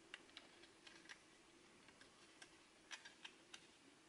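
Fingertips and nails tap and trace over a small red translucent plastic MiniDisc cartridge with a metal shutter, held in the fingers, hollow with the disc inside. About ten quiet, sharp, bright ticks and clicks sound at irregular intervals over a soft scratchy surface hiss, each dying away almost instantly.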